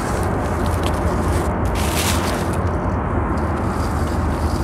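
A large grey sand-cement mound, solid and crumbly, is dug and scratched into by two hands wearing gold bangles, whose fingers pull off chunks and crumble them so powder falls. A continuous low, gritty scraping and crumbling rumble runs steadily through the clip, with little high-end content.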